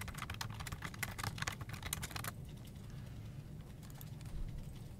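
Fingertips type on a full-size black plastic desktop keyboard with hollow keycaps, making a rapid run of bright, clacky key taps over a steady low hum. After about two seconds the typing thins out to a few soft, scattered presses while the low background hum continues.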